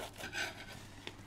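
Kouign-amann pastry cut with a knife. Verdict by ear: Crisp.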